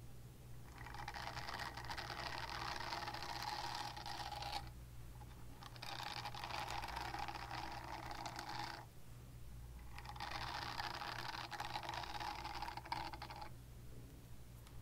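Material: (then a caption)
Silicone. A small pink silicone cleansing pad with a textured bristle face is scratched with long nails in three sustained bursts, each a dense, rustling scratch that sounds bright and hissy from the midrange up into the high range. Short quiet gaps separate the bursts, and a steady low hum runs underneath throughout.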